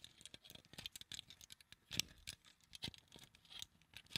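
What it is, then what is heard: Plastic claw clip, fingernail tapping. Long acrylic fingernails tap a small translucent pink plastic flower claw clip held in front of a microphone. The result is a quiet, irregular patter of sharp, bright clicks with almost no ring and little low end, with one louder tap around the two-second mark.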